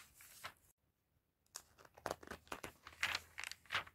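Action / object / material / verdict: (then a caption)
scrape / glossy paper catalog / paper / none. Fingertips with red nails and a white glove turn the thin pages of an open glossy paper fashion catalog lying on a table. Bright, crinkly paper rustles and soft tearing-like swishes come in uneven bursts, with a short silence near the start. The sound is quiet and papery, mostly high with almost no low end.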